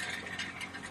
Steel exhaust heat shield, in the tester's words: This is the rattling sound. This is all loose.